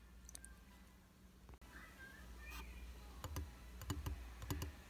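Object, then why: Glass mirror in a frame. Fingertips and short nails tap on the flat solid glass of a round vanity mirror in a white frame, its surface wet with water droplets at first. Several short, dry clicking taps come in quick, uneven bursts over a steady low hum, with no ring after each tap.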